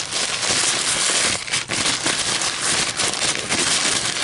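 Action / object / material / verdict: scrape / paper coffee filter / paper / none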